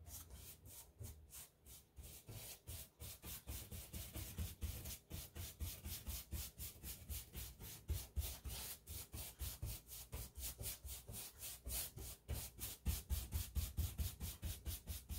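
A wide paintbrush with a wooden handle rubs wet paint across a large, solid interior wall of painted textured drywall beside white door trim. It makes steady back-and-forth strokes, about two per second, each a soft, bristly swish with a bright hiss over a dull low rumble.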